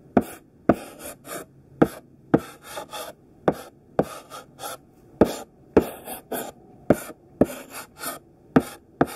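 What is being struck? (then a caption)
Chunky chalk stick on a flat chalkboard. A chunky pink sidewalk chalk stick, held in the fist, scratches over a flat black chalkboard, drawing squares with short strokes. Fourteen sharp, bright, scratchy strokes stand out, with softer, quieter scrapes between them and each stroke cutting off quickly.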